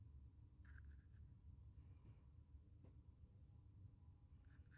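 A graphite pencil tip scratches and draws lines across a small square of white primed, stretched cotton canvas resting on a wooden table. The result is very quiet, dry scratching, mostly a low rumble with faint brighter rasps around 1–2 kHz and no ring.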